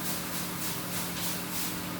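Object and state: Nothing is struck.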